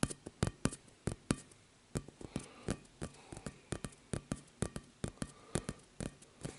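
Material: Vinyl.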